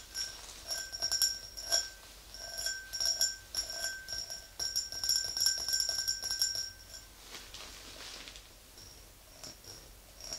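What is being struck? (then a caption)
Empty glass tumbler. Long nails tap the sides and rim of an empty, hollow clear glass tumbler in an uneven rhythm. Each tap gives a bright, high, glassy ring that fades quickly, with a steady lower tone underneath. The tapping is busiest in the first seven seconds, then thins out to softer, sparser taps.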